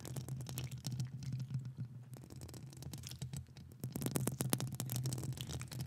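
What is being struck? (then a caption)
Metal mesh microphone grille scratched and tapped with long nails. Long acrylic nails scratch and tap the hollow metal mesh grille of a large studio microphone, with the other hand gloved. The result is a rapid, uneven stream of sharp, bright clicks and scrapes over a steady low hum, growing louder in the second half.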